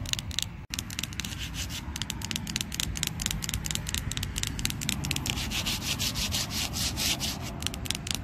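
Long pink and green acrylic nails and fingertips scratch and rub across a large, solid, flat red plastic-coated playground panel at a park, its surface heavily scuffed. The result is a steady, dense stream of rapid, bright scraping strokes with a hissy top and a rough low rumble underneath, broken only by a split-second gap near the start.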